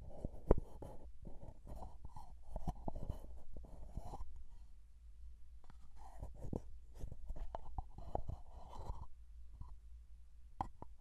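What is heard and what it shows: Fingertips tap and scratch along the sides of a small plastic Vaseline petroleum jelly jar with a blue plastic lid, held close to the microphone. Soft, muffled taps and brushing scratches come in quick irregular bursts over a low, steady rumble, with one sharper tap early on. The sound stays quiet and low-heavy throughout, with very little bright content.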